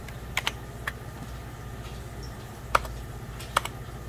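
Fingertips of both hands tap keys on a hollow, beige 1990s Packard Bell plastic computer keyboard. Sparse, irregular, short, crisp clicks with a bright edge rise above a steady low hum. Each tap stops almost instantly, with a pause in the middle of the clip.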